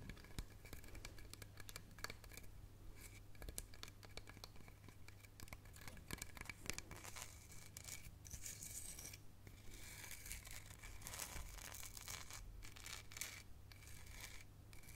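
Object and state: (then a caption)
Hollow wooden log, tapped and scratched by fingernails. Long painted nails tap and scratch the raw wooden end ring of a hollow log section with bark, held up with its cut end facing forward. Quick, dry clicks and bright scratchy rasps follow one another in a dense, uneven stream over a steady low hum.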